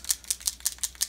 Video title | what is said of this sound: Wolf Classic | it has a rattle ball inside and we're going to shake this thoroughly